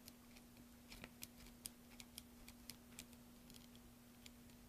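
A metal carving blade scrapes and shaves the surface of a solid green soap block, held in a hand with dark-painted nails over a pile of soap shavings. The result is a quiet, irregular string of short, crisp, bright scraping clicks that die away almost instantly, over a steady low hum.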